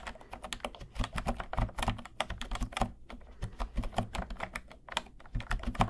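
Fingertips type quickly on a cream plastic retro keyboard with round pastel keys, held at an angle near one microphone and then moved to the center. The result is a steady stream of short, dry plastic clicks with a soft low thump beneath each press, and the taps vary slightly in loudness as the keyboard's position shifts.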